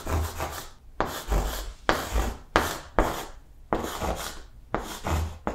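Chalk held in the fingertips writes lowercase letters on a large, flat green blackboard. Seven distinct scratching strokes are heard, each starting with a soft, dull tap and a bright rasp that fades quickly, with short quiet gaps between them.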